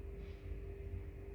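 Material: Nothing is struck.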